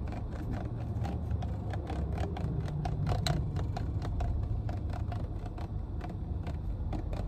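Long painted nails tap and scratch the body and cap of a full, clear plastic water bottle, making a quick run of light clicks and scrapes. A steady low rumble runs underneath throughout.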